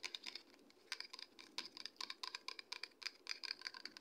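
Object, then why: Plastic conditioner bottle. Long red acrylic nails tap and scratch a medium white plastic Toni&Guy conditioner bottle, hollow and likely partly full, while it is held up. The result is a rapid, irregular run of sharp, dry, high-pitched clicks and ticks with no low end and almost no ring, with faint scratchy rustle between the taps.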